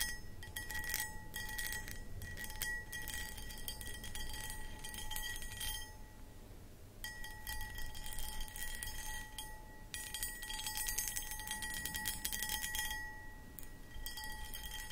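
Long acrylic nails scratch the textured front of a medium-sized, empty, hollow clear cut glass footed pedestal bowl. Dense, bright scratching comes in bursts over a low background rumble, with steady faint ringing tones from the glass and a brief quieter pause near the middle.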